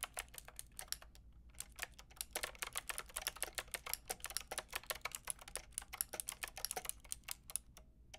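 A Lofree plastic mechanical keyboard with a plastic frame and round keycaps is tapped by fingertips with long red nails. Dozens of quick, bright clicky keystrokes follow one another at an uneven typing pace over a faint low hum. Each tap is short and dry, with almost no ring.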